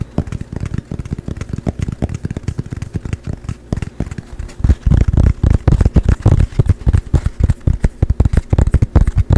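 A small, dark painted canvas panel, a thin flat board held in both hands close to the mic, is tapped fast with fingertips and nails. The result is a rapid, uneven stream of short, dull, low thuds with little ring, growing noticeably louder and heavier about halfway through.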